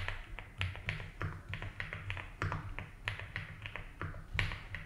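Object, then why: Mechanical keyboard with ABS plastic keycaps. A compact 75% mechanical keyboard with white and blue ABS plastic keycaps, a light blue plastic case and a foam-filled body is typed on continuously with the fingertips of both hands. The key presses are short, muted taps at a slow, steady pace, with a deep thocky body under bright, crisp click tops that die away almost instantly.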